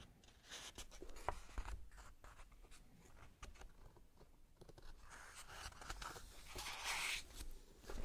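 Gloved fingertips flip and turn the glossy paper pages of an open men's fashion magazine one by one. Soft, crisp rustles and papery swishes come at a low level, with brighter, louder page sweeps toward the end.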